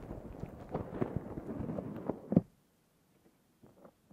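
A black foam windscreen on a Zoom H6 recorder is scratched with the nails of both hands, giving a dense, low, crackling scrape with irregular thumps that peaks in a sharp bump near the end. It then drops almost to silence, with faint soft scratches returning at the close.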